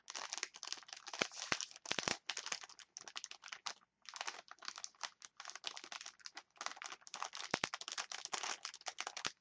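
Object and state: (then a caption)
Plastic chopstick package. A clear plastic package of wooden chopsticks is crinkled with fingers and long nails, making dense, bright crackling and scratching in bursts with a few brief pauses. The sound is dry, with almost no low end and no ring after each crackle.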